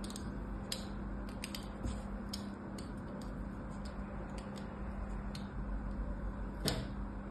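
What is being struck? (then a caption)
Bar of soap. A small blade scores more parallel lines into a solid cream bar of soap already lined with cuts, held on a mat by a hand with long orange nails. Short, bright scratching clicks repeat at irregular intervals over a low, steady hum, with one sharper click near the end.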